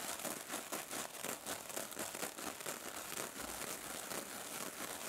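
A small, hand-held silver metallic mesh sponge over foam is scratched by long nails and squeezed by fingers. The result is a dense, quiet, crinkling scratch with bright, hissy texture and almost no low end, pulsing in uneven rapid strokes throughout.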